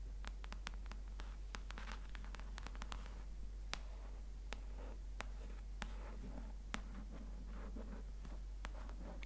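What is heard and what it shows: Long nails tap and trace across the glossy paper cover of a paperback copy of Homo Deus held upright as a solid block of paper. Quiet, sharp, bright clicks are scattered among soft scratching and rustling strokes, over a steady low hum.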